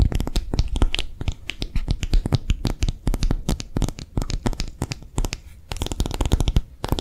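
A hollow, empty pink soft silicone phone case with a raised bumpy back is held in the hands and rapidly tapped and scratched with long nails. The result is a fast, dense stream of short, dull taps with a soft low thump and a bright, scratchy edge. Each tap dies away almost instantly.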